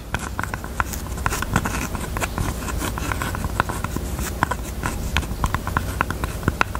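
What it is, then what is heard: Jewelry box. Fingers tap on a pink jewelry box in quick, light, uneven taps. Each tap is a short, dry click with a faint ring near 1.4 kHz, over a steady low hum.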